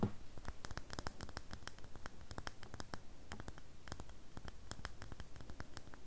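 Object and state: Bar of soap.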